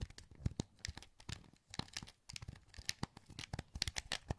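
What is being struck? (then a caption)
Plastic game controller. A translucent green plastic PS2 wireless controller, hollow and held in both hands, has its buttons clicked by the thumbs. A quick, irregular run of short, dry plastic clicks with bright ticks and a low thump in each, with no ring after the hits.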